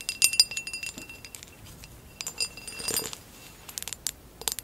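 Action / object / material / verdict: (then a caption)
tap / textured glass vase / glass / none. Long acrylic nails tap and scratch a hollow amber glass vase with a woven relief pattern, lying on its side. Quick, bright glassy clicks and clinks come in bursts with brief high ringing, separated by softer scratchy rustling over the textured surface.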